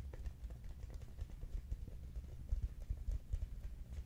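A large, hollow, cylindrical Quaker Oats cardboard canister is held and tilted in both hands while being tapped with the fingertips. The taps come as a quick, uneven run of dull, low, hollow thumps. Each one dies away almost at once, with no bright edge.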